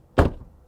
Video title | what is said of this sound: The ONLY Electric Car I Would Buy! | Suono di chiusura della porta dall'esterno (rumore della porta)